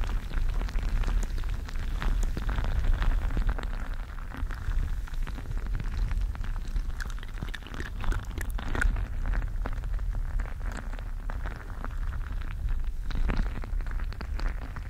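A gel-bead-filled squishy stress ball with a mesh covering is squeezed and rubbed with fingertips close to the microphone. It makes a steady, dense stream of wet crackles and tiny pops over a heavy low rumble.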